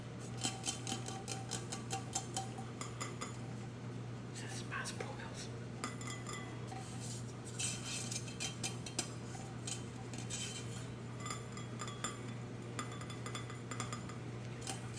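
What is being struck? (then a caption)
Insulated powder-coated stainless steel tumbler. A large lilac insulated tumbler of powder-coated stainless steel with a handle, hollow and held in one hand, is tapped with the fingertips and nails. Quick, irregular taps and bright clicks ring briefly with a metallic tone around 770 Hz. A steady low hum runs underneath throughout.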